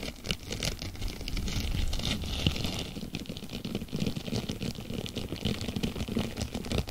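Fingertips with long nails stretch, scrunch and scratch a thin, palm-sized blue textured plastic mesh sponge cloth held close to a microphone. A dense, continuous crinkling patter of rough scratches and quick crackles fills the clip, with a full low end and bright, brittle flecks on top.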